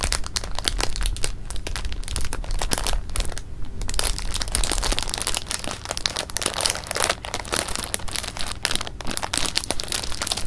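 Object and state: Plastic bag of jelly beans crinkled.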